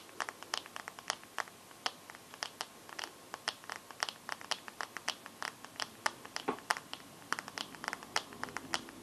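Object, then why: Glass smartphone screen. Fingernails tap and scratch the black glass screen of a bare smartphone held up in the air. The result is a quiet, rapid run of short, bright clicks with almost no ring, spaced irregularly and mixed with faint scraping, with no low-end weight.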